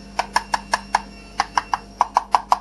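The stock plastic radio transmitter of an HBX Rampage beginner RC truck is tapped twelve times in quick succession. The taps are short and hollow with a mid-pitched knock and almost no ring, marking it as a cheap, hollow-sounding plastic case.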